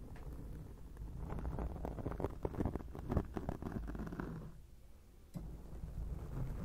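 Long acrylic nails scratch a black foam windscreen on a microphone. The result is a dense, muffled, low rumbling scrape of quick, irregular strokes with almost no bright content. The scratching briefly quiets before picking up again.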